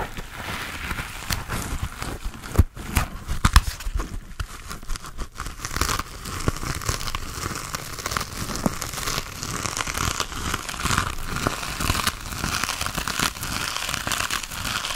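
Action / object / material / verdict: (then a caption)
scrape / foam sponge with foam handle / foam / none. A hand-sized grey textured foam sponge on a tan foam base, solid and porous, is held in both hands while fingernails scratch and squeeze-crinkle its surface. The result is a dense, continuous crackling and crinkling scratch with a bright, airy top and a low rumble underneath. A few sharper snaps stand out early on before the texture settles into a steady rustle.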